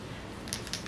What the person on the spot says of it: I don't know if you can hear that, but there's a little ball. You shake it up